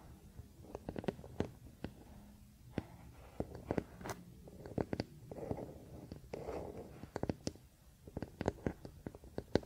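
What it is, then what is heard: Wooden paddle hairbrush. A wooden paddle hairbrush lies on a blanket while fingernails scratch and tap its solid wooden back and handle. The sound is a quiet, irregular run of short, dry wooden taps and clicks, mixed with soft scratchy rubbing. Each tap stops almost at once, with a woody mid-low tone.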